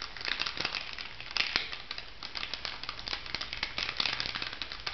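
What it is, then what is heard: Plastic foil sachet crinkling. An orange plastic foil cosmetic sachet lying on a table is tapped and scratched with long nails. It makes a steady run of bright, dry crinkles and quick ticking taps. The taps come in close, irregular bursts and fade almost at once.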